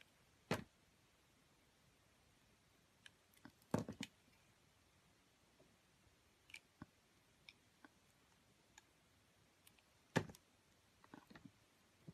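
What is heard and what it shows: A hand with long blue nails holds a solid donut-shaped soap with a chocolate-brown striped coating while a metal box-cutter blade shaves and carves it. Short, sharp clicks and crisp scraping cuts come at irregular intervals over quiet background, with the loudest cuts near the start, around four seconds and around ten seconds. Each cut is brief and dies away almost at once.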